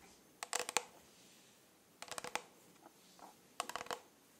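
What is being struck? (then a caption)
Rhinestone-covered plastic tumbler. Long nails scratch and tap the rhinestones on a rhinestone-covered plastic tumbler held close to the microphone. Three bursts of quick, bright, crisp clicks stand out, with a few fainter taps between them against a quiet background.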